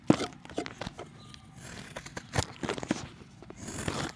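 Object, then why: Chalk block scraped with a knife blade. A solid round grey chalk disc is held in the hand and scraped with a utility knife blade, breaking off chunks and powder. Sharp, crunchy scraping bursts with dry crumbling and gritty scratching recur throughout, with a faint hiss of powder between the strokes.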